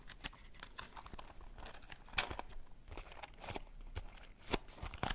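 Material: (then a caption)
Cardboard. Long painted nails tap and scratch the top and sides of a small, closed, rectangular cardboard matchbox with brown striker strips, hollow and holding matches, held over a water bowl and briefly held in one hand at the end. Quiet, dry, crisp taps and scratchy, crinkly rasps come in quick irregular succession, each dying away almost instantly, with a few louder, brighter clicks standing out.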